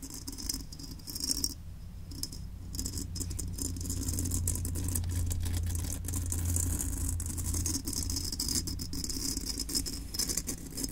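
Long nails tap and scratch the painted shell of a hollow olive-drab steel M1 helmet resting on a desk. The result is a quick, irregular run of light clicks and rasping scrapes with a bright metallic edge over a steady low hum.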